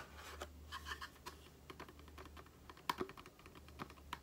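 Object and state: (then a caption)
Cardboard cream box. A small, hollow cardboard Aloe face-cream carton is turned in the hands while long nails tap and scratch its printed surfaces. The result is a run of quick, dry, clicky taps with very short ring, mixed with light scratchy rustling over a faint steady low hum.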